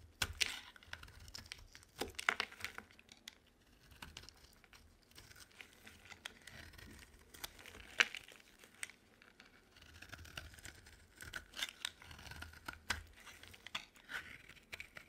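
A solid white bar of dry soap held in the palm is scraped with a utility knife blade into crumbly chips. Quiet, dry crackling and crunchy scraping strokes repeat irregularly. The sound is mostly bright and high with little low end.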